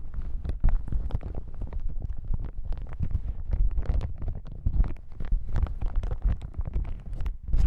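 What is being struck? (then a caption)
Folded plastic hazmat suit. Fingertips tap and scratch a folded yellow plastic hazmat suit lying on a table. A dense, continuous run of short, soft thumps and rustles sits mostly in the low range, with brief crackly streaks reaching higher. The sound stays close and muffled throughout, with no ringing after each touch.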